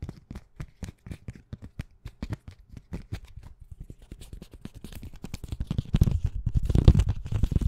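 A small flat plastic plate covered with colorful paper sticky-note bookmarks, held in one hand, is tapped quickly and scratched with long painted nails. Short, dry, dull thuds come in a fast, uneven patter, with light papery scratching between them. Toward the end the tapping grows denser and louder.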